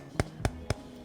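An aluminium car-speaker cone is tapped three times to show its damping, each tap giving a short, sharp knock with a low body around 110 Hz. Aluminium has low damping, so it rings longer than a paper cone and sounds faster and more detailed.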